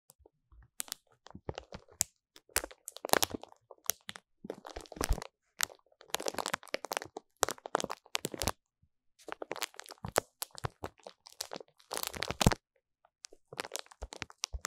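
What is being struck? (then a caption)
Pack of paper napkins in thin plastic film. Long fingernails on both hands scratch and tap the top of a solid, rectangular stack of printed paper napkins sealed in thin plastic film, resting on a fluffy cloth. Bursts of dry, crackling crinkles come in quick clusters separated by short silences, with bright, crisp edges and no ring.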